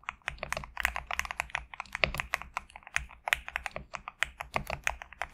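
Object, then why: Mechanical keyboard with PBT plastic keycaps. A compact GMK67 mechanical keyboard with a black case and white/cream PBT plastic keycaps is typed on continuously with the fingertips of both hands. A rapid, uneven stream of short, bright clacks with almost no ring fills the clip, with a faint low hum underneath.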